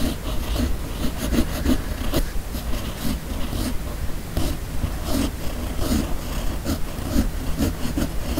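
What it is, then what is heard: Paper sheet under a steel pen nib. A steel fountain pen nib on a red pen body writes cursive across a flat white sheet of paper. The nib scratches continuously over a steady low rumble, with short bright strokes and taps breaking through at an uneven pace.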